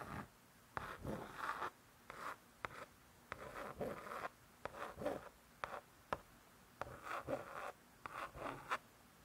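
One long acrylic nail scratches and traces across the lettering on the laminated cardboard cover of a closed spiral-bound hardcover cookbook. About thirteen short, dry scratching strokes are separated by brief quiet gaps, each a raspy midrange scrape centred near 1 kHz with faint bright edges and almost no low end.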